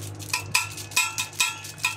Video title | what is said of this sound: Ly Giữ Nhiệt Iced Americano | mình gõ là nó ven